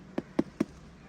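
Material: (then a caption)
Fruit. Knocking on a mature but not yet ripe jackfruit gives three short, dull thumps with a low pitch, each dying away almost at once. This knock sounds different from that of a ripe jackfruit.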